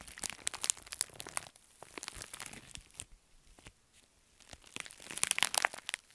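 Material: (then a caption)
Metallic foil. A pink metallic foil padded bubble mailer is crumpled in the fists, then scratched and tapped with long nails. Bright, crackling crinkles and crunches come in dense bursts, ease into quieter scratching in the middle, and swell again into sharp crinkling at the end.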